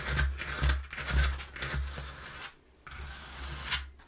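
Long nails tap and scratch the inside panel of a partly folded, empty, hollow brown corrugated cardboard box. About five low, hollow thuds come through, each with a bright, papery scratching rasp. The sound drops to a brief near-silence before a softer scrape and a final tap.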